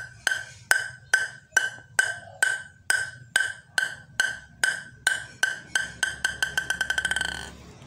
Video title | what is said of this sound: review yinhe M101 (mars 101) | Suaranya nyaring banget, suaranya sangat nyaring, pantulannya kenceng.